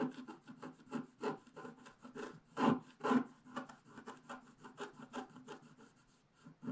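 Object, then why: Scratch art paper sheet scraped with a wooden stylus. A wooden stylus scrapes the black coating off the left edge of a flat scratch art paper sheet in repeated rubbing strokes. About seventeen soft, dry scratches are heard at an uneven pace, mostly midrange with a faint tonal edge, with two louder strokes near the middle before the rubbing fades quieter.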